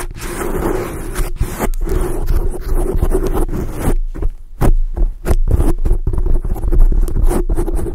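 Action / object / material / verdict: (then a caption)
scrape / foam microphone windscreen / foam / none. Long acrylic nail tips scratch across a black foam microphone windscreen, making a dense, low-heavy rustling scrape. After about four seconds the scratching breaks into shorter, separate strokes with brief gaps between them.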